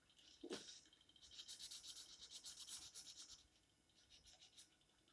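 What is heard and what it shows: An orange felt-tip marker held in the fingers is scratched and rubbed across the page of an open paper coloring book lying flat on a table in short coloring strokes. Quiet, bright, scratchy strokes follow one another in uneven bursts, with a brief fuller contact near the start and softer strokes toward the end.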